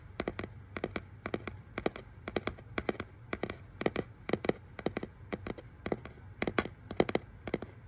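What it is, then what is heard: Cardboard box tapped with fingernails. Fingernails tap quickly over the paper shipping label on a hollow brown corrugated cardboard box. The result is a steady run of short, dry clicks, often in quick pairs and triples, each with a hollow knock and a bright edge. The taps die away almost instantly over a faint low hum.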